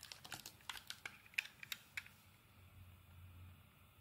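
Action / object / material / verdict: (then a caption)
scrape / solid soap bar cut with a metal blade / soap / none. A metal blade carves thin curls off a purple and white marbled solid bar of soap held in the palm. About eleven sharp, bright, dry scraping clicks come at an irregular pace over the first two seconds, each ending instantly. A faint low hum fills the quiet that follows.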